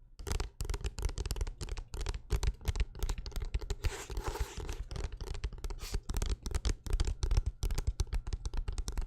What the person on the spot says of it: the book tapping to me sounds almost like thick rain falling on a windowsill or on a metal roof